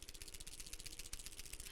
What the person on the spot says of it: what you can hear there are the little ball bearings inside of the pen. They need to hit all of the surfaces and all of the sides